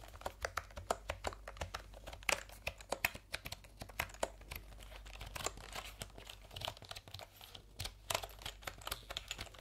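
Fingertips rapidly type on and tap the round plastic keycaps of a backlit plastic computer keyboard held diagonally. The result is a dense stream of short, sharp, bright clicks and clatters with no ring, over a faint steady low hum.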